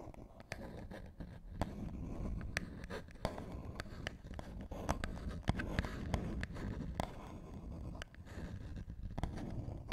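Fingernails scratch and tap the edges and faces of a small, flat, hollow box made of printed paperboard. Sharp, dry clicks pop out over a steady low rumble, and the brief taps stop almost instantly with no ringing.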